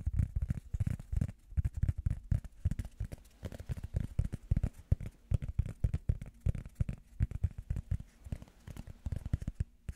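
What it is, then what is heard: Soft rubber foam pad. A small, round, solid, soft blue rubber foam disc is held up in the hands and tapped with fingertips and nails. The taps make muffled, deep thuds in quick, irregular bursts with brief pauses between them. Each thud is dry and dies out at once, with almost no bright edge.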